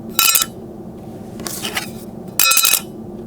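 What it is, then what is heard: All-metal credit card. A full-metal OCBC Voyage credit card is dropped, giving bright, high-pitched metallic clinks that ring briefly over a low steady background. The sound is clearly metallic rather than plastic.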